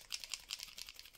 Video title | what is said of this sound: QUELS MATERIELS pour donner du FUN à vos COLORIAGES? Effet doré, paillettes, glossy... | then you hear the ball which allows the paint to mix well inside your marker